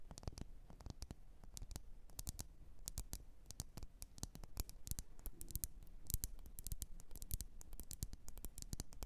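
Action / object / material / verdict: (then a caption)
tap / glass candle jar tapped with fingernails / glass / none. Long nails tap rapidly and irregularly on the sides of a lit, wax-filled red glass candle jar. The many quiet, sharp clicks are bright with a soft low thump and die away almost instantly, with no ringing. The tapping continues steadily over a faint background hiss.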